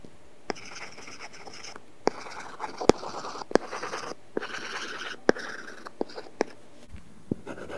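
A plastic stylus tip rubs and scratches across an iPad glass screen covered with a matte, paper-like film while coloring. Bursts of dry, papery scratching hiss alternate with brief pauses, punctuated by sharp, quick taps as the tip strikes the surface.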